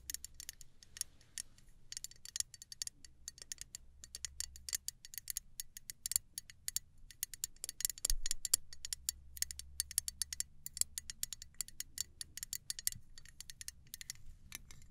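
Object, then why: Small aluminum travel spray bottle. Long nails tap rapidly on the body of a small gold aluminum travel spray bottle held upright in both hands. The taps are quick, dry and bright, ticking like a clock, with no ring after each one. A faint low hum runs underneath the whole time.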